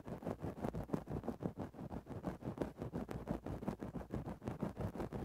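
A thin wooden stick makes rapid, small scratches into a grey faux-fur synthetic microphone windscreen. It produces a steady run of about 29 soft, muffled scratching strokes. The sound is low and fuzzy, with almost no high end.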